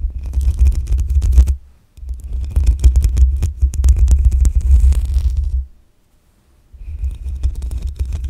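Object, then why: Metal mesh microphone grille. Long acrylic nails scratch all over the hollow, rounded metal mesh grille of a black USB condenser microphone on a stand, with no cover. The result is a dense, booming low rumble with faint bright scratchy ticks. It comes in three stretches, separated by brief silences near 2 seconds and between about 5.7 and 6.7 seconds.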